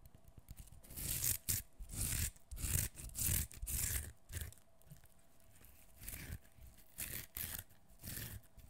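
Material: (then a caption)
Cucumber skin. A partly peeled whole cucumber, solid and held in one hand, has its skin peeled and scratched off with the fingernails. Short bursts of crisp, tearing scrapes come in uneven runs, with bright hissy edges over a low, damp thump. Quieter pauses fall between them.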